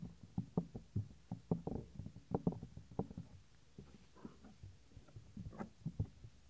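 Fingertips rub the small, solid white soft silicone ear of a 3Dio binaural microphone and press it down. The result is a run of close, muffled low thumps and dull rubbing bursts with almost no high content. Each sound dies away quickly.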